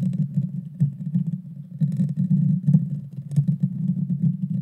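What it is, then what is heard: Metal mesh microphone grille being scratched. Long painted fingernails scratch the bare metal mesh grille on the hollow head of a small Blue Yeti Nano USB microphone. The result is a dense, continuous low rumbling scrape centered around 150 Hz, broken by faint bright ticks and swelling in loudness in uneven waves.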